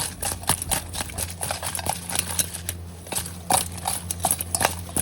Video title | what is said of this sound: Really Crispy Juicy Lemon Pepper Honey Herb Chicken Myyyy Waaaay✨🍋🤝🌶🤝🍯🤝🌿✨😍😋🤤🥰🧘🏾‍♀️ | now y'all gonna hear how crispy they are